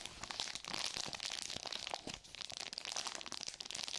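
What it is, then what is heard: Sealed plastic and paper glove pouch crinkled. A sealed, flat sterile surgical glove pouch of plastic and paper, with a clear plastic front and gloves still inside, is gripped and crinkled with long nails and fingertips. It makes a steady stream of crisp, bright crinkling and crunching with almost no low end. Each crackle is short and dry, with no lingering ring.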